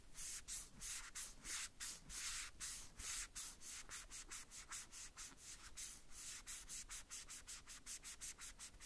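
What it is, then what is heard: Plastic toy boot being wiped. Small hollow red plastic cowboy boots of a Woody doll are held in the hand and rubbed and wiped with a white cloth or wipe wrapped over the fingertips. About 25 quick, rhythmic strokes make a soft, bright, airy swishing hiss, each one starting and stopping sharply with little low end.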